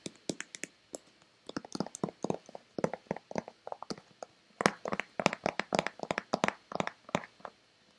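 Long red-painted nails rapidly tap the front and back of a hollow, hand-sized white plastic Nivea lotion bottle. About 38 crisp, dry clicks land in quick, irregular bursts, each with a hollow plastic knock and a bright tick that dies almost instantly.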